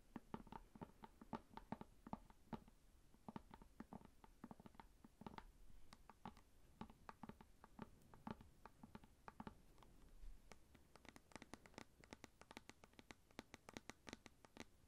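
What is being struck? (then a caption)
Plastic cosmetic jar lid. Long painted nails scratch and tap across the printed paper/film label on the lid of a round plastic Nature Republic Aloe Vera 92% soothing gel tub of about 300 ml, held close up. Quiet, rapid, dry clicks and scratchy patter carry a low, hollow plastic tone. Toward the end the taps become sharper and brighter.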